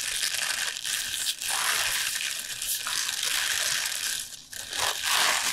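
A bunch of fresh lacinato kale leaves, tied with a purple band and lying on a board, is squeezed, crinkled and pressed with the fingers. It produces a steady, bright, crisp crinkling and crunching with almost no low end, briefly dipping in loudness twice before swelling again.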